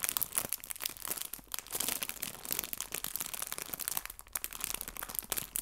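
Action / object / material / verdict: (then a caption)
scrape / clear cellophane bag filled with fabric leaves / plastic film / none. A small clear cellophane bag full of artificial fabric maple leaves is squeezed and crinkled by fingertips and nails. The result is dense, continuous, bright crackling and rustling with many quick sharp snaps and almost no low end.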